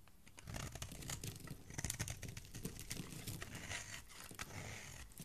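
A metal blade scrapes and shaves curls and flakes off a palm-sized purple-and-white striped solid bar of soap held in fingertips with dark nails. The sound is a dense, continuous run of dry, crinkly scraping and crunching with bright, hissy edges over a low rumble, with no pauses between strokes.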